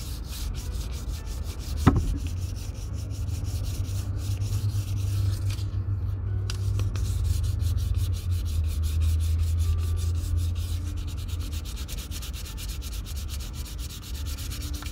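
Fine sandpaper held under the fingertips is rubbed over the toe and side of an empty brown leather Red Wing Pecos 9801 cowboy boot held in one hand. A steady, low scratchy rubbing runs throughout, with one sharp tick near the start, leaving a sanding scratch on the leather.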